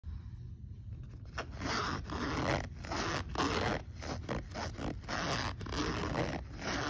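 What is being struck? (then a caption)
Fabric backpack pocket with metal zipper. Fingertips pull the metal zipper slider on the front pocket of a black polyester fabric backpack open and closed repeatedly. The result is a series of gritty zipper-teeth rasps, starting soft and growing louder and denser after the first second, each stroke with a bright, scratchy edge over a low rumble.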